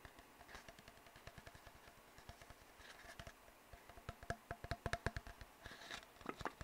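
An empty, hollow brown cardboard tube is knocked and tapped with the fingertips, producing a rapid series of soft, dry, hollow taps. Each tap has a dull low thump and a brighter click that die away almost instantly. The tapping starts quiet and grows louder and more pronounced toward the end.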